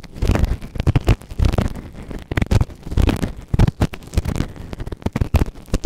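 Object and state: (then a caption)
Silicone ear microphone being scraped. A white plastic ear tool held in fingertips scrapes inside the ear canal of a grey silicone ear-shaped microphone on a round base, soft and solid. Quick, irregular bursts of muffled scratching and rubbing come through as deep, close-up rumbling thuds, with almost no high or bright content and no ring after each stroke.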